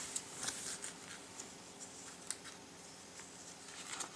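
Fingertips lift, flip and rub the thin glossy paper pages of a large printed Christmas catalogue lying open on a table. The result is quiet, bright, crisp paper rustling with little low end, punctuated by four short, sharp crackles.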